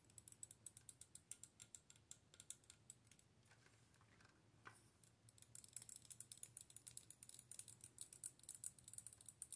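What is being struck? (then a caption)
Plastic orb wand with a hollow sphere. Long nails tap and scratch the hollow sphere of a handheld clear plastic orb wand with LEDs inside and a dark handle. The result is a fast run of crisp, bright clicks with almost no ring, like typing. A softer scratchy stretch in the middle gives way to denser, louder tapping, all over a faint low hum.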